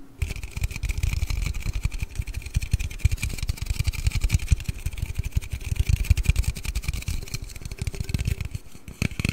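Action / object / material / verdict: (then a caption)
tap / aluminium drink can / aluminium / none. A large, hollow aluminium Red Bull energy-drink can is held close to the microphone and rapidly tapped and scratched with fingertips and nails. The result is a dense stream of soft, low, muffled thumps over a steady faint metallic ring and a bright scratchy hiss. The tapping continues throughout, eases briefly near the end, then picks up again.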